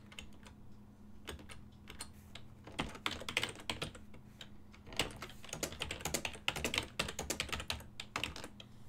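Fingertips type on a full-size ergonomic silver and black plastic desktop keyboard with hollow key switches. Quick, bright, clicky keystrokes come in uneven bursts with short pauses, each hit dying away almost at once. A faint steady low hum runs underneath.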